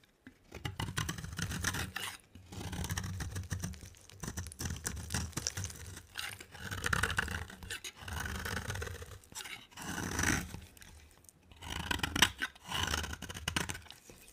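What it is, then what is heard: Dry bar soap being shaved. A box cutter blade shaves a dry, rectangular cream-colored soap bar with a green edge in repeated scraping strokes. Each stroke is a dry, gritty rasp with a bright, hissy top and a soft low rub underneath, coming in bursts separated by brief pauses.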